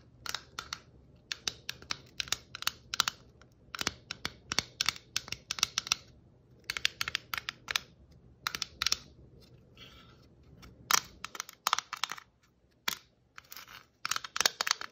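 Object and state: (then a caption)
Plastic Christmas ornament ball. Long natural nails tap and scratch the surface of a hand-sized, hollow plastic Christmas ornament ball with shiny red stripes and glittery white stripes, held up in the air. Quick, bright, clicky taps come in rapid bursts with very short ring, broken by a softer, hissy scratching stretch near the middle.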